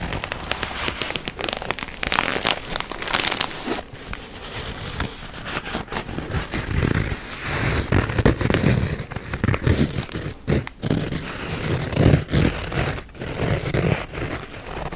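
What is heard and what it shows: Fingertips and nails tap and scratch the surface of a red nylon-fabric, semi-rigid first-aid kit case, hollow with contents and held upright close to the mic. Quick, dry taps with a soft, low, hollow thump mix with crackly, crinkling scratches that come in dense, uneven bursts, each decaying almost at once.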